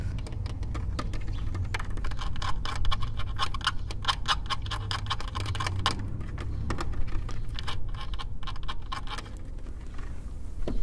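Fingertips and nails tap and scratch around the center emblem and lug nut caps of a silver plastic wheel cover on a car wheel. Rapid, dry, bright clicks and scrapes sound over a steady low hum, and each tap dies away almost instantly.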